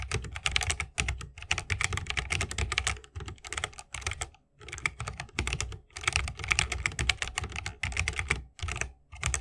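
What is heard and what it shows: A 60% mechanical keyboard with Holy Panda switches, a bamboo case and plastic keycaps is typed on continuously with the fingertips of both hands. Rapid, dense keystrokes each give a bright, crisp clack over a deeper thocky body, with brief pauses between bursts. Each stroke dies away almost instantly.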